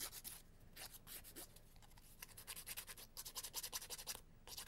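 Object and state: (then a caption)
Emery board filing fingernails. A long, thin, solid emery board of grit-coated cardboard is filed rapidly back and forth across fingertips and fingernails. The result is a series of quiet, dry, bright rasping scratches in quick bursts, with brief lulls between the faster runs of strokes.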